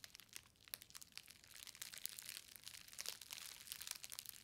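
A green plastic bubble-wrapped book parcel is squeezed at its ends, then pressed flat on a table by fingertips with long nails. The result is a dense run of quiet, bright crinkling and crackling with sharp little snaps, and almost no low end.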